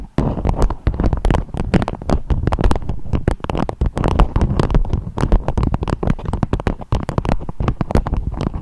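A dome-shaped, beeswax-coated fabric wrap with a strawberry print is tapped and scratched with long acrylic nails. A dense, fast run of short, dull taps and crinkly scrapes continues almost without pause, heavy in the low end with soft, papery texture above.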